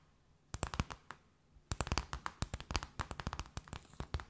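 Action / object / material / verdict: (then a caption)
tap / wooden discs / wood / none. Wooden circles are tapped with the fingertips at mixed speeds. A few spaced taps are followed by a short pause, then a quicker run of short, dry taps with a soft low knock and a bright clicky edge. Each tap dies away almost at once against a faint background hiss.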